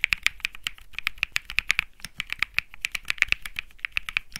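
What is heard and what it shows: Fingertips type continuously on a Think 6.5, a 65% mechanical keyboard with Bsun Lollipop plastic keycaps on a metal-looking case, resting on felt. Some thirty quick, bright clacks centred around 2 kHz come in a steady rhythm, each dying away almost instantly with very little low end.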